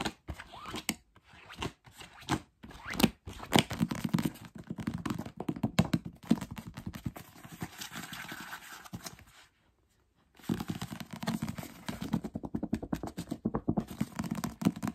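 Fingertips rapidly tap the cover and pages of a thick paper paperback novel held up close, then fan through its page block. Dense, dull thunks with a warm low-mid body mix with papery scratching and rustling, broken by a brief pause just before the tapping resumes.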